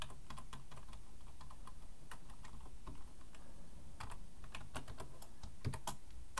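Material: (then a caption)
Plastic. Fingertips of both hands type steadily on a black plastic full-size computer keyboard resting on a wooden desk. A quick run of bright, crisp key clicks and taps sits over a constant low rumble, with a few louder strikes near the end.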